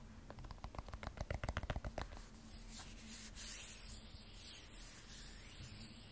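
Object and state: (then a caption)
Glass-backed smartphone with steel frame. Fingertips and long nails rub and scratch across the matte frosted glass back of a handheld graphite iPhone 12 Pro with a stainless steel frame. A quick run of about fourteen sharp, dry scratching strokes comes first, then gives way to softer, continuous rubbing with a faint bright hiss.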